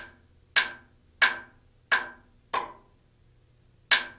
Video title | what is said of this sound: Rotorway Maintenance Video 0 25 svc hours | the sound changes from a solid to hollow sound as demonstrated here by tapping away from The Spar